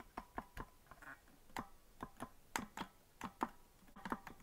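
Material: Plastic.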